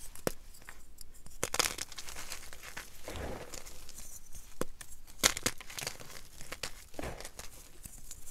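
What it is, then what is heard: Gym chalk blocks being crumbled. Plain white gym chalk blocks (magnesium carbonate), solid, brittle and dry, are crushed and crumbled between bare fingers over a pile of chalk powder on a dark marble surface. Continuous dry crunching and crumbling is heard, with sharp bright snaps standing out and some softer rubbing of powder in between.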